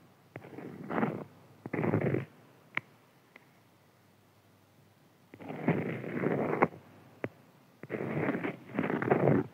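Fingertips and nails scratch and tap across a flat printed beeswax-coated cotton food wrap lying on a white table. Bursts of dry, raspy scratching alternate with quiet pauses, broken by a few sharp isolated taps.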